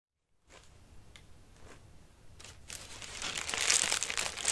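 Fingertips scratch and rub the pleated tissue paper of a lime-green paper lantern, folded flat on its wire frame, hollow, and held on a lap. After a brief silence, soft, sparse crinkles and light ticks gradually build into dense, bright, hissy crinkling that grows loudest near the end.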